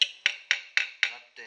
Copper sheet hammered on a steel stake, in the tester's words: dead sound is what we're looking for, where we're getting a direct connection between the two surfaces